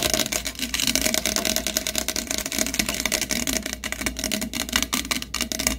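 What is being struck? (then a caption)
Plastic soda bottle. Fingertips and nails quickly tap and scratch over the body and paper/plastic label of a large, hollow, capped green plastic 7UP bottle held in both hands. The result is a dense, steady stream of bright, crackly scratches and short, dry, hollow plastic taps that stop almost instantly with no ring.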